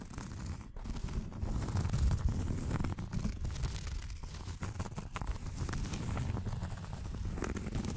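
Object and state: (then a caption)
Cork coaster scratched with nails. Long nails scratch the surface of a round, thin, solid cork coaster held in the hands. The result is a steady, dense, irregular scratching and rustling texture with most of its energy in the low range and only a faint bright hiss on top, with no clearly separated strokes.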